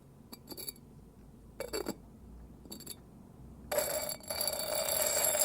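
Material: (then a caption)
Ceramic. The lid of a ceramic side-handle kettle made by a Yokohama potter is tapped, giving short clusters of bright, high clinking rings. This is followed by a louder, continuous stretch of dense clinking that lasts to the end. The lid is rated a 12.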